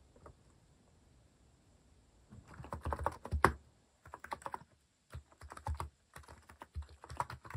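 Fingertips type steadily on a compact white-cased mechanical keyboard with cat-themed plastic keycaps. After a near-silent opening with one faint tick, bursts of quick, dry, muffled clacks come in clusters separated by short pauses, each keystroke dying away almost instantly.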